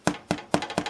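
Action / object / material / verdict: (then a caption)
knock / baked bread rolls / bread crust / hollow. Baked bread machine pan rolls are thumped to test whether they are done, giving four quick, dull, hollow-sounding taps with very short decay. The hollow sound, along with their color, shows the rolls are done.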